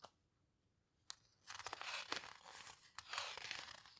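Fingertips with long nails turn and squeeze the heavy paper pages of a large open photo book, a paper houseboat book, near the edge. A faint tap and a sharp click come first, then two bursts of bright, crinkly rustling and crunching broken by crisp snaps. The whole clip is quiet and close.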